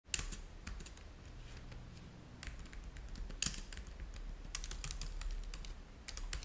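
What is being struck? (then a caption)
Plastic laptop keyboard. Fingertips of both hands type on the low-profile keys of a black plastic laptop keyboard dock resting on a white table. Quick, bright plastic clicks come in irregular bursts, with a couple of sharper taps standing out, over a steady low hum.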